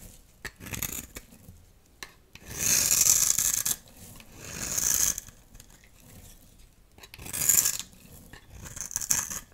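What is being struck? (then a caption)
Soap bar scraped with a metal blade. A dry, solid green soap bar held in the palm is scraped and cut with a metal utility knife blade, breaking off shavings and chunks. Bright, dry rasping scrapes come in several long strokes, separated by quiet gaps with small crisp ticks and crumbles.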